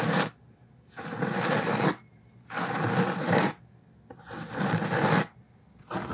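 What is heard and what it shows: Fingertips and nails scratch across the cloth cover of a thick black hardcover Tolstoy book held in one hand. Each stroke is a broad, hissy scrape running from low up to bright high tones, about a second long, separated by brief near-silent pauses in a steady back-and-forth rhythm.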